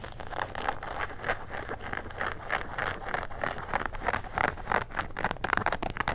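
Fingertips and nails scratch along the pocket and waistband seams of gray denim jean shorts with a leather patch. The result is a steady run of quick, rough scratching and rasping strokes, brightest in the upper mids, over a faint low rumble, each stroke cut short with no ring.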